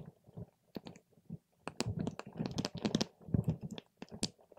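A paper straw pokes and stirs a clear plastic cup full of purple water gel beads, and some beads rise to the top. Soft, squishy, low-heavy squelches come in uneven bursts, dotted with quick wet clicks and brief bright pops that die away almost instantly.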